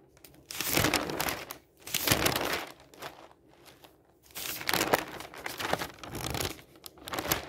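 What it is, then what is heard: Newsprint pages being turned and crinkled. An open newsprint newspaper lies on a table while fingers quickly flip its pages and crinkle the thin paper. Bursts of bright, rustling crackle rise and fall in waves, separated by brief quieter pauses as each page turns.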